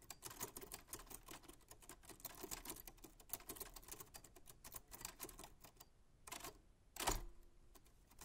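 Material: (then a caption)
Metal. A 1940s Smith-Corona manual typewriter with a black metal body and paper loaded is typed on continuously with white-gloved hands, producing rapid, sharp mechanical key clicks and typebar strikes. The dense run of bright clacks thins out near the end, followed by a couple of louder strikes and a final heavy clunk with a brief ring.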